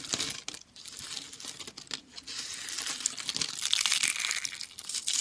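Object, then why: Soap shavings crushed by hand. A pile of thin, dry, curled yellow soap shavings and solid chunks is crushed and crumbled between the fingertips and palms of both hands over a floral cloth. The result is a dense, continuous run of dry, bright crinkling and crunching crackles with almost no low end, building slightly louder toward the end.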